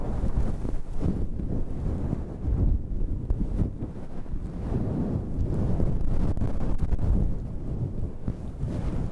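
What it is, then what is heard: Fluffy synthetic fur microphone windscreen being scratched. Long red nails and fingertips scratch a dark grey fluffy synthetic faux-fur windscreen over a microphone. The result is a dense, muffled rumble with almost nothing bright in it, swelling and easing in soft waves with brief rustling flicks throughout.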